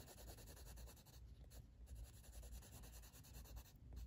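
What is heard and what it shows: A blue wooden colored pencil held in the fingers shades the flat paper page of a coloring book resting on a table. Quiet, continuous scratchy rubbing rises and falls with each back-and-forth stroke over a soft low rumble.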